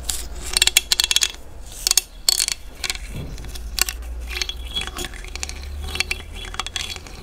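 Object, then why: Large cowrie seashell. A thin dark stick is scraped across the toothed ridges at the opening of a large, hollow cowrie seashell held in one hand, producing bright, ratchet-like clicking. The clicks come in quick bursts with short, dry decays, separated by quieter scraping and rubbing.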